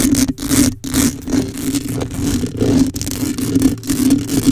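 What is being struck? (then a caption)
Metal mesh microphone grille. Long acrylic nails scratch the metal mesh grille of a black condenser microphone. Steady, uneven rasping scrapes with a low hum near 277 Hz under bright, hissy strokes, broken by a few brief gaps.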